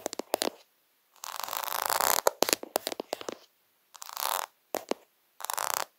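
Fingertips and short nails tap and scratch quickly across a flat sheet of small rainbow-coloured acrylic rhinestone stickers lying on fabric, close to the camera. Quick clusters of sharp, dry clicks alternate with bursts of bright, gritty rasping, separated by short silences. The sound is thin and crisp with almost no low end and no ring after each tap.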